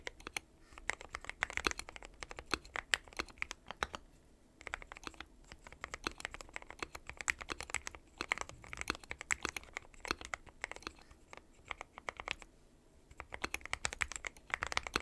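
Fingertips of both hands type continuously on a dark metal-cased mechanical keyboard with white and pastel plastic keycaps. Rapid, bright, dry clacks come in dense bursts with a few brief pauses, and each keystroke stops almost instantly.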